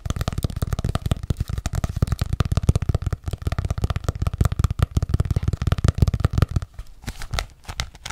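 Long nails tap rapidly on the front cover of an ornate hardcover paper journal held upright. The result is a fast, steady stream of dull, low-pitched thuds with a light papery click. Near the end the tapping thins into softer, sparser taps.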